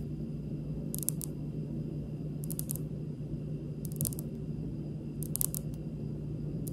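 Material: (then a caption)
Granite. Long pink nails of both hands tap a large, solid, speckled granite kitchen countertop. Short, bright clicking taps come in quick clusters about every second and a half, each dying away almost instantly. A steady low hum sits underneath throughout.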